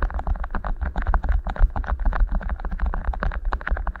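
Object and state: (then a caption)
Beeswax food wrap. Fingertips rub and squeeze two matching beeswax-coated cotton wraps rolled into hollow tubes over the microphone capsules. A dense, rapid string of short crinkly crackles rides over a heavy, muffled low rumble and thumping, with no pauses through the clip.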